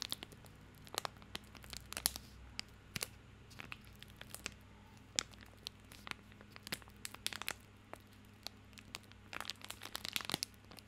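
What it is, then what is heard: Wrapped soap bar, wrapper crinkled. A small bar of soap in a printed white-and-orange plastic/paper wrapper is held in both hands in front of a microphone while the fingertips squeeze and crinkle the wrapper. The result is a quiet run of many sharp, bright crackles and crinkles with very short decay, over a faint steady low hum.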